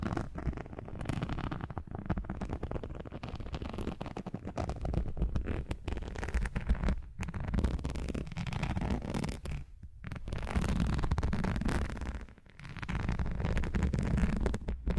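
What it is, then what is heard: Textured plastic non-slip strips. Long manicured nails scratch the textured surface of several long, thin, translucent pale non-slip seal strips of plastic or silicone, held upright in the hands. The result is a dense, rapid, irregular scratching with a heavy low rumble and little brightness. It drops briefly near the ten- and twelve-second marks.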